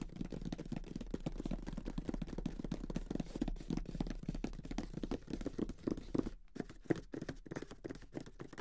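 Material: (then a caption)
Cardboard. A closed grey Monopoly cardboard board game box lies flat, and its hollow lid is tapped and drummed rapidly with the fingertips of both hands. The result is a steady stream of soft, dull, hollow thuds centred low around 330 Hz, with almost no bright content and no ring after each tap. There is a brief pause near the six-second mark before the drumming resumes more sparsely.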